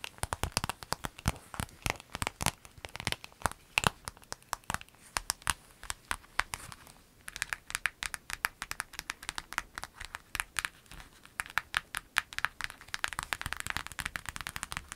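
Long acrylic nails rapidly tap and scratch a clear lemon-print vinyl zip pencil bag lying flat. The result is a dense stream of crisp, crinkly plastic clicks and scrapes with a bright edge and no ring. There is a brief lull around the middle before the tapping picks up again.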